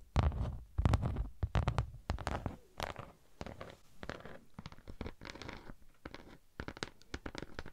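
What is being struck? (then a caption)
Thin textured beeswax sheet. A thin pink honeycomb-textured beeswax sheet is held beside the mic and scratched with long nails, then lowered in front of the body and scratched further. Quick, irregular bursts of dry, crackly scratching come with a heavy low, muffled rumble. The first couple of seconds are loudest, and the strokes turn softer and lighter as the sheet moves away.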